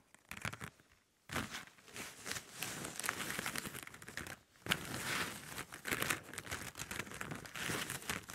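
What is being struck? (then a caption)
Plastic drinking straws. Fingertips and long nails rub and scratch across a pile of hollow plastic drinking straws on a table. A dense, bright crinkling and scratching rustle comes in continuous bursts, with brief near-silent pauses after about one second and again around four and a half seconds.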